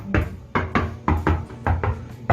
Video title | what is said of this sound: 임대인과 임차인중 누구의 잘못인가? (수서동 아파트누수) | 타일 이 들떠 있기 때문 입니다 . 소리 를 들어 보세요 . 속이 빈 소리 가 납니다